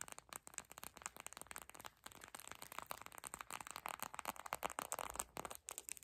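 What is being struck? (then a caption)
Plastic eye mask filled with gel beads. A small clear purple plastic eye mask filled with gel beads is held up, squeezed and scratched with long pink acrylic nails and fingertips. The result is a quiet, steady stream of rapid crinkly clicks and scratchy crackles, bright and thin with almost no low end.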